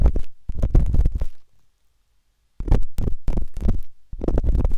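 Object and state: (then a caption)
Silicone ear of binaural microphone, scraped. A metal-tipped dot stick with a wooden handle scratches inside the ear canal of a pale pink, soft, solid silicone ear on a binaural microphone. The result is a close, muffled run of deep rumbling scrapes and taps, almost all low in pitch. The scraping comes in bursts with about a second of near silence in the middle.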